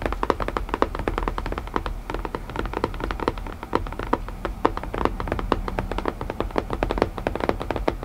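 Fingertips tap rapidly and steadily on a wooden puzzle box for about eight seconds. Each tap is a short, dry, hollow knock with a mid-range tone around 400 Hz and almost no ring. A soft low rumble sits underneath, and the taps vary slightly in strength throughout.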